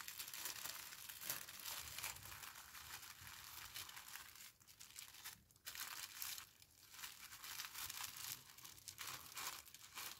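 Thin pink tissue paper wrapped around a small flat parcel is folded, creased and pressed flat by fingertips with long painted nails. A steady, bright, close crinkling continues throughout, with brief quieter pauses around the middle.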